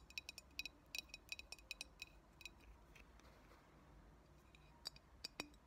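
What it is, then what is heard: Glass bottle, tapped with fingernails. A medium clear glass cold brew coffee bottle with a paper "Coldbrew Coffee" label, hollow and mostly empty, is tapped and scratched with long natural fingernails. Quick, bright, glassy clicks ring briefly in clustered bursts, with a quieter stretch of faint scratching in the middle.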